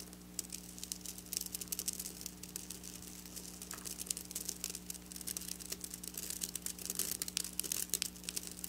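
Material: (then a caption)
Sequins. Long black nails on both hands drag over flat silver sequin fabric, making dense, bright crinkling and rattling scratches with many quick, clicky ticks. The scratching grows busier and louder in the second half, over a faint steady low hum.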